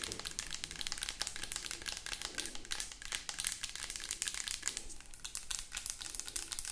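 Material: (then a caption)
Plastic. Long acrylic nails tap and scratch rapidly along the sides of a hollow white plastic lotion bottle with liquid inside. The result is a dense, fast stream of crisp, bright clicks and crinkly scrapes with very short decay and little low end.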